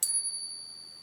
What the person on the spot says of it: you can hear it hanging on for ages that's the sign of the true silver coin